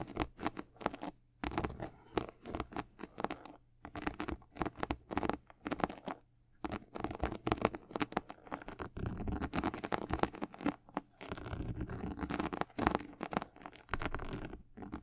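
Long acrylic nails scratch across the side panels of a high-top sneaker with a white leather and black/gold patent leather upper, held close. Dense, rapid bursts of dry scratching and tapping come in quick clusters, broadband and bright, with brief pauses and a low steady hum underneath.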